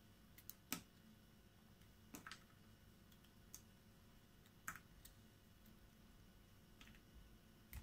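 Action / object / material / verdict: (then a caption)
scrape / bar of soap carved with a small blade / soap / none. A hand-sized solid bar of soap with a green outer layer and white core is held in one hand and carved with a small metal blade, peeling off thin curls. Sharp, bright clicks and scrapes come at irregular intervals over a quiet low hum, each dying away almost at once.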